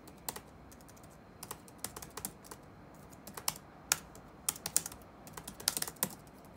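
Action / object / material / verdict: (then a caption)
tap / plastic laptop keyboard / plastic / none. Fingertips type rapidly on the black plastic keys of an open laptop resting on a wooden desk. About 23 short, bright, clicky taps come in uneven bursts and pauses, each dying away almost instantly over a faint, steady hiss.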